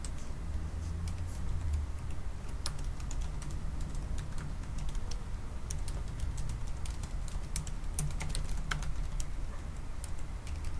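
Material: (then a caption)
Plastic. Fingertips type at a moderate pace on the black plastic keys of a silver aluminum laptop resting on a wooden desk. Light, short, bright clicks sit over a steady low hum that fills most of the sound.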